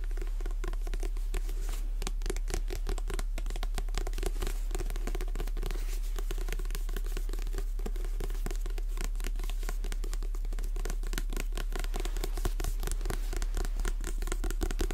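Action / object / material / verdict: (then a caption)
tap / paperback book with card cover / paper / none. Long red-painted nails tap and scratch the glossy card cover and spine of a paperback copy of Jurassic Park, a solid paper book held in both hands close to the mic. Quick, uneven taps blend with crinkly scratching at a steady level throughout, over a constant low hum.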